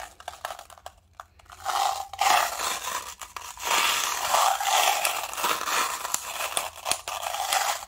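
A small, hollow clear plastic cup partly filled with small silver metal mixing balls is held in the fingertips and shaken and swirled, making the balls rattle. After a quiet, sparse start, dense bright rattling and scraping swells in, with a faint ringing tone near 830 Hz. It continues in uneven bursts to the end.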